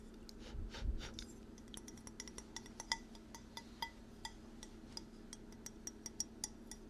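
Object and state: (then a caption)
Ceramic bowl. Light, quick taps on a ceramic fall bowl with a leaf texture inside, still holding a little residual chocolate because it was used for chocolates. The taps give short, bright clinks with brief high ringing partials over a steady low hum, and a louder rumbling handling sound comes near the start.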